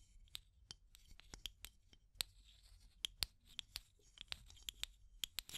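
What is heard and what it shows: Long nails tap and scratch the lid rim and body of a small clear plastic tube container with an aluminum screw lid. A quick, irregular series of sharp, bright clicks with almost no ring comes through, with faint high scratching between the taps.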